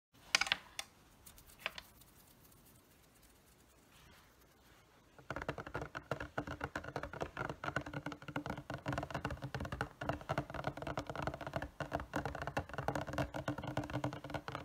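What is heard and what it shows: Fingertips and nails tap the front face of a medium-sized printed cardboard retail box for an anime figure, hollow with the figure inside and held upright on a wooden table. A few scattered, sharp taps sound in the first seconds, followed by a quiet pause. From about five seconds on, dense, rapid, irregular tapping produces a dry, hollow patter with no ring.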